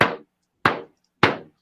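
A double-ply plastic drum head, fresh out of the box and not mounted on a drum, is tapped three separate times. Each tap gives a short, damped thud with a midrange body and a darker tone, and it dies out quickly with little ring. It is a damper, darker sound than a single-ply head.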